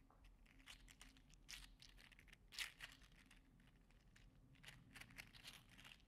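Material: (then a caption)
PLA plastic. A green and teal segmented 3D-printed PLA articulated slug toy is held in the fingers and bent back and forth. Its segments give off rapid, dry, bright clicking and crinkly rattling over a quiet low hum, with a few louder clusters of clicks.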